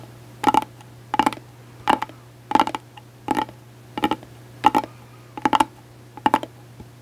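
Long acrylic nails scratch and tap a closed gold glitter hard-shell case held upright. About ten brief bursts of quick, bright clicky taps with a light ringing tone come at a loose, uneven pace, with a faint steady low hum underneath.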